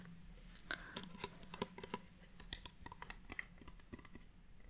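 Long painted nails tap and scratch along a red plastic Bath & Body Works fine fragrance mist bottle with a clear cap and gold band, about 20 cm tall, hollow and partly full of liquid, held in one hand. The result is a quick, irregular run of short, dry, clicky taps mixed with brief scratches that die away almost at once, over a faint steady low hum.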